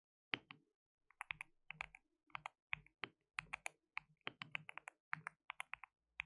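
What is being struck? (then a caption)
Plastic mechanical keyboard. Fingertips type rapidly on a compact white RGB-backlit mechanical keyboard with plastic keycaps and a hollow case. The result is a quiet, uneven run of short, bright plastic clacks with a faint low thud under some strokes, each dying away almost instantly.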